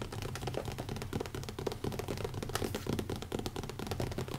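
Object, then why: Leather-covered hardcover notebook. Fingertips tap quickly and lightly scratch the cover of a small, closed, black leather-covered hardcover notebook with an elastic band, resting on a wooden table. The result is a steady stream of soft, dull, low-heavy taps with a faint scratchy texture, each dying away almost instantly.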